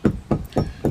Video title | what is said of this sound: Grade 2 Listed Timber frame survey - Part 2 | the vertical is bouncing and that says to me it's not connected